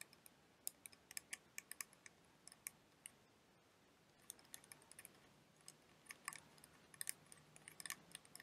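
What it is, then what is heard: Plastic liquid motion timer. A clear plastic liquid motion timer toy filled with blue liquid is held and tapped with long dark-painted nails. About thirty-four quiet, sharp, bright clicks come in irregular clusters, with a short pause near the middle. Each click dies out almost at once, with little low end.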